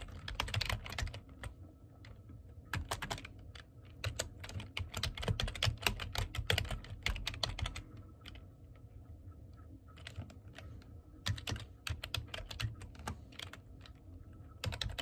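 Both hands type with their fingertips on a black plastic computer keyboard, producing rapid, crisp key clicks with bright high edges. The typing comes in bursts separated by brief pauses, over a steady low hum.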